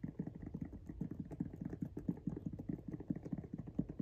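Fingernails of both hands tap and scratch the pink rubber outsole of a Jordan 1 High "Washed Pink" sneaker held up close. The result is a rapid, steady run of short, dull, low-pitched taps with soft scratchy texture and almost no high brightness.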